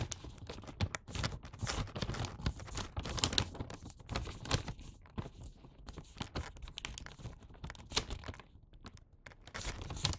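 A filled Santa-print paper gift bag lies on its side while fingertips and nails run along and fold its top edge. Dense, dry crinkling, creasing and rubbing continue throughout, with bursts of bright, crackly noise over a soft low rustle.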